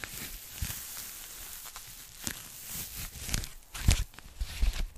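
Long nails scratch, tap and crinkle a thin, empty pink polyethylene foam packing bag held in the hand. The result is a continuous soft, hissy rustle with irregular brighter scratchy bursts and dull low thumps as the bag is handled.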